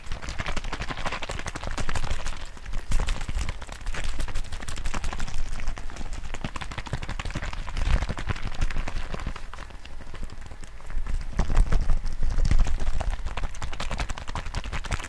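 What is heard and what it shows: A small teal-and-white hollow plastic bottle, partly filled with liquid, is held in one hand close to the mic and shaken quickly back and forth. It makes a rapid, uneven stream of sloshing, clattering ticks with a heavy low-end thump. The ticks swell louder around the 2–3 and 11–13 second marks.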